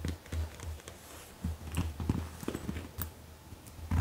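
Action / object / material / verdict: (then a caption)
tap / padded faux leather cosmetic bag with contents / faux leather / none. A medium white-and-grey marble-print faux leather (PVC-like) zippered makeup bag, soft-sided and filled with makeup items, rests on a black leather surface. Long acrylic nails and fingertips tap and scratch its front and top. The result is a string of soft, muffled, low thuds with light scratching between them.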